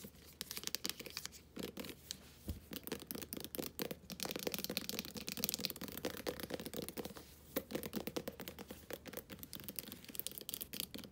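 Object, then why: Plastic body wash tube. Long nails rapidly scratch and tap a full, medium-sized plastic squeeze tube of body wash in metallic gold and white, held in the hands and then laid on a blanket. The result is a dense stream of crisp, bright clicks and scratchy rustles with short, dry decays.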